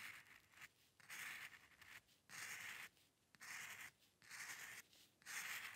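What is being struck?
Paper sheet and metal pen nib.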